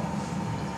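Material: Nothing is struck.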